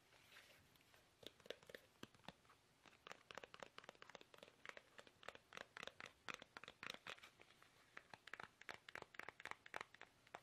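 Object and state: Plastic toothpaste tube.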